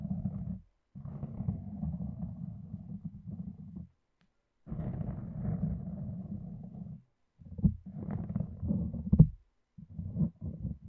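A red self-adhesive cohesive fabric bandage is wrapped over the mic, and fingertips and long nails pull and peel a loose strip away from the wrapped layers. The result is a deep, muffled, rumbling crackle in several long bursts separated by short silences, with a few sharper snaps near the end.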